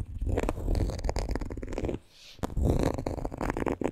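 Long green nails scratch along the front pocket and panel of a coated canvas monogram handbag, making a dense, low, rumbling scrape with quick ticks. A brief near-silent pause falls around the middle before the scratching resumes.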